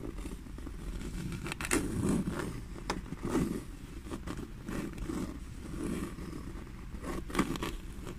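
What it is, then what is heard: Leather bag scratched and tapped. Long nails scratch and tap the grained surface of a small, hollow black leather bag. Dry rasping scrapes mix with short, soft taps, with the strongest taps standing out sharply against a low, muffled body of sound.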